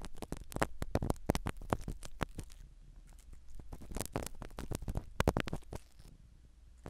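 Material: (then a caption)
Foam. A black spiral ear pick scratches the foam cover of a small black microphone set inside a silicone dummy ear. Close, dense bursts of crackly, rustling scratches come in quick irregular runs over a low, muffled rumble, easing briefly in the middle before picking up again.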